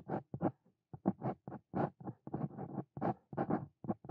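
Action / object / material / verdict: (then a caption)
scrape / metal pen nib on a paper page / paper / none. A Brause Cito Fein steel dip pen nib scratches across a flat white paper notebook page while writing handwritten Korean lines. The sound is a quick series of short, dry, rasping pen strokes separated by brief silences, each stopping dead with no ring.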